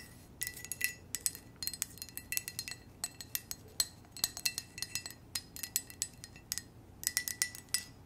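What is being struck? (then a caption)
Ceramic coffee mug. Long nails tap rapidly on an empty, hollow white ceramic coffee mug with red hearts and a red heart-shaped handle, in bursts of quick taps separated by short pauses. Each tap is a light, bright clink with a brief glassy ring and a faint steady tone around 2 kHz, over a quiet background with almost no low end.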